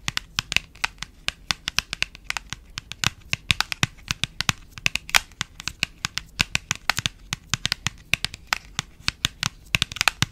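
Long nails tap and scratch a small, hand-sized printed paperboard box held at the mic. Around sixty quick, bright, dry ticks land in an uneven, steady patter, each dying away almost at once. Faint scratchy rustle fills the gaps, with little low end.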